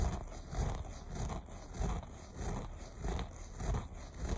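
Fingers with short nails scratch the loops of a beige looped carpet in repeated strokes at a fairly steady pace. Each stroke gives a soft, low, rumbling scrape with brief fibrous rasps, swelling and fading as the nails drag across the loops.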